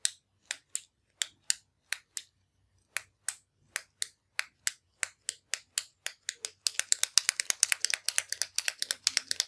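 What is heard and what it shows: A slim, hollow orange metallic ballpoint pen with chrome trim and tip is held in one hand over a wooden desk while the thumb repeatedly presses the push button to click the retractable mechanism. The result is sharp, bright, very short clicks with no low end, spaced out at first and then speeding into a dense, rapid flurry toward the end.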